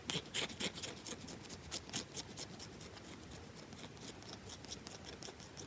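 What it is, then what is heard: Bar of soap scratched and tapped. Long nails rapidly scratch and tap a round, solid bar of soap with a grooved, scratched surface, in a fast, aggressive rhythm. The result is a quiet, uneven series of short, bright, crisp scraping clicks and taps with very little low end.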